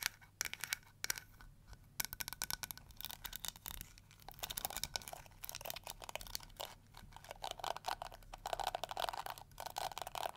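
Long acrylic nails scratch and strum the flexible plastic bristles of a small round pink-and-yellow flower-shaped plastic detangling brush held in both hands. The result is a quiet, bright, crackly stream of rapid dry ticks and scrapes with no ring, over a faint steady low hum.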